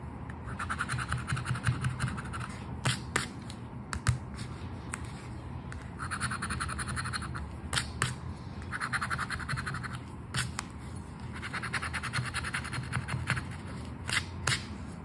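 A flat, thin paper Aranha da Sorte lottery scratch card lies on a dark surface, held down by the fingers of one hand, while the edge of a coin-sized red and gold token in the other hand scrapes off its latex scratch-off coating. Repeated bouts of dry, raspy scratching come in steady back-and-forth strokes, broken by brief pauses and a few sharp, bright ticks. A low rumble sits underneath throughout.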